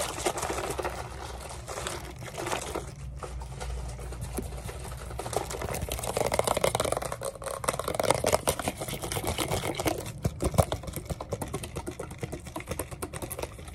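A hand-sized, hollow BodyArmor Lyte plastic drink bottle with a printed label, appearing partly full of liquid, is held and moved around while long painted nails and fingertips tap and scratch it fast. The result is a dense, continuous stream of quick, sharp clicks and scratchy rustling over a low hollow rumble, growing louder and more aggressive in the second half.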